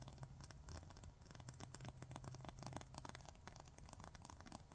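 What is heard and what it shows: A long, thin, solid 100/180 grit emery nail file is scratched and tapped with long fingernails. Rapid, dense scratching and tapping clicks run throughout over a low background hum.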